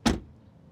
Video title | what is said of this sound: The Dodge Charger Scat Pack Widebody has Moves to Match its Muscle (POV Drive Review) | Hören Sie auf das Türschließgeräusch, das ziemlich solide ist.